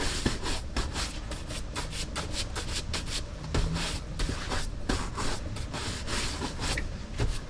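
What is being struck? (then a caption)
Leather cowboy boot. A bristle brush is stroked back and forth across the vamp and shaft of a brown leather Lucchese cowboy boot, held by hand on a wall rack, hollow and empty. The strokes make a steady run of bright, hissy swishes over a low, rumbling bed, with short rubbing bursts that blend into one another.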